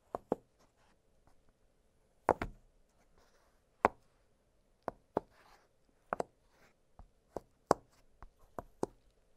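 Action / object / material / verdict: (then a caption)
tap / silicone pop-it fidget toy / silicone / none. Fingertips press and pop the hollow bubbles of an octagonal blue silicone pop-it fidget toy lying flat on a glittery surface. Thirteen short, dry, quiet pops come at irregular intervals with silence between them, each with a soft hollow tone around 440 Hz and a brief bright click.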